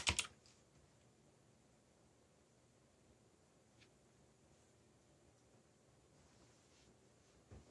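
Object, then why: Mechanical keyboard with plastic keycaps. Fingertips type on a backlit mechanical keyboard with black plastic keycaps and a yellow backlight. Two sharp, bright key clicks come close together at the start. Near silence follows with a faint tick partway through, and then a softer click just before the end.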